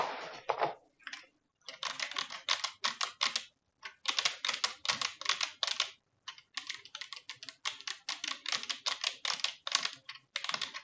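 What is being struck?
Plastic computer keyboard.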